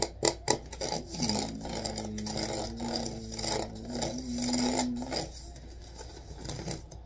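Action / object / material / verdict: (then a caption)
scrape / rattan wicker basket with wooden rim / rattan / none. Fingertips scratch across the vertical reeds of a hollow rattan wicker basket with a wooden rim. A few sharp ticks open the clip, followed by a fast, dry, raspy scratching with a faint steady low tone beneath it for several seconds, before the scratching trails off more quietly.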